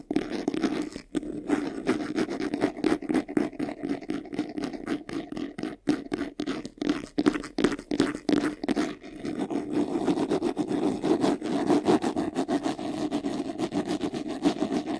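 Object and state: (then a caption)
Faux leather vanity case, scratched. Fingernails scratch quickly across the textured sides of a medium white faux-leather vanity case, a hollow box. The result is a dense, continuous run of rapid rasping strokes with a hollow mid-low body around 300 Hz. The strokes keep going steadily for the full fifteen seconds.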